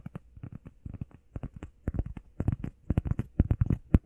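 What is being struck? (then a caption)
EVA foam pad. Long painted nails and fingertips tap fast and scratch across a flat, solid, hand-sized grey textured EVA foam workout pad shaped like a heart. A rapid, uneven run of soft, dull, low thuds with no ring is heard, threaded with faint scratchy brushing, growing slightly louder toward the end.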